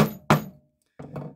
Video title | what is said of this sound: Making a leather bracelet. | keep doing that until you hear that audible difference. Tap it a little harder.